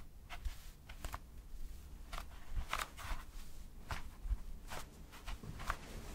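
A large white toilet paper roll with soft paper layers is held close to the mic and scratched and rubbed with fingertips and short nails. The result is a series of quiet, short, dry scratching bursts over a low, soft rumble.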